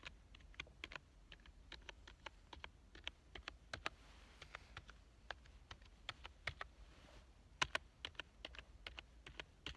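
One hand types fast with its fingertips on a black plastic full-size keyboard with a hollow body. About 39 short, sharp, bright clicks come in an uneven, quick rhythm, each dying away almost at once over a low, quiet hum.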